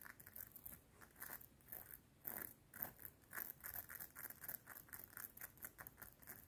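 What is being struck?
Metal link chain necklace.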